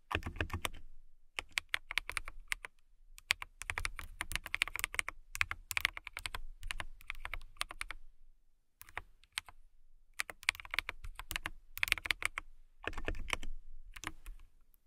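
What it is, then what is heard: Acrylic mechanical keyboard. Fingertips with long nails type on a clear acrylic mechanical keyboard with transparent acrylic casing and clear keycaps. Rapid, bright, clacky keystrokes with a soft low thump come in quick runs separated by brief pauses. Each click stops sharply with almost no ring.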